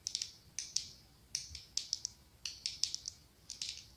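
Long acrylic nails scratch and tap the ribbed glass body of a medium pumpkin-shaped glass candle jar filled with orange wax. About 17 quiet, bright, clicky taps arrive in uneven bursts, each with a very short ring and almost no low end.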